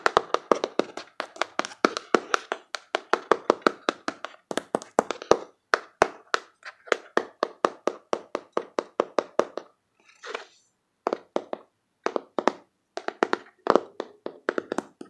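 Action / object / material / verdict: tap / small cardboard box / cardboard / none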